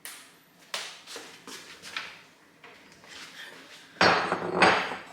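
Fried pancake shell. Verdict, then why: Crisp. A marshmallow pork-floss crispy pancake is tapped and shaken, giving a series of dry, crackly crunches from its very crisp shell, ending in a louder, rattling crunch. The shell is so crisp that crumbs fall off, so a container is needed underneath to catch them.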